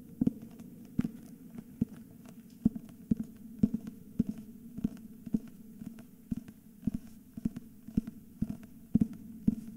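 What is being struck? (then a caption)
Hardcover book with paper dust jacket. A solid cream hardcover book with a paper dust jacket is held in both hands and turned while fingertips tap and scratch its back cover and spine. Short, dry, low taps land in an irregular rhythm over a steady low hum and a soft scratchy rustle, each tap dying away almost instantly.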